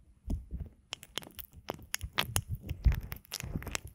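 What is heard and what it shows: Fingertips and nails push into and rub the ear canals of a binaural microphone made of a pair of soft, solid silicone ear models glossy with lotion, moving from right to left. The result is close, wet rubbing and crinkling with deep, muffled thumps and bright crackles in irregular bursts.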